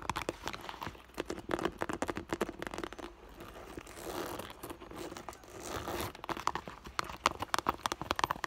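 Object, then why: Clear vinyl (PVC) school bag. Long pink and blue nails tap the front of an iridescent clear holographic PVC school bag standing on a table, hollow with items inside, near its sequin and fur heart patches. Quick, dry, crinkly taps come in rapid bursts, pausing midway for a softer, continuous crinkling rustle of the vinyl. The taps resume with brighter clicks ringing around 1 kHz.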